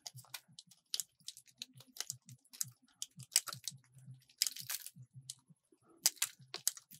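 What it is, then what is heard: Soap bar being cut. A metal utility blade carves a small solid purple soap block, cutting it into strips. A rapid series of crisp, bright crunching and scraping cuts sounds close and dry, each stroke ending almost instantly.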